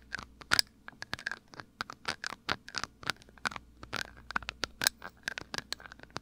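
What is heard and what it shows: Fingertips and short nails scratch and tap a small amber glass dropper bottle held at the right ear of a microphone. Around two dozen quick, dry clicks and scrapes with a bright, high edge come in an uneven pattern, each dying away almost instantly. There is little low end.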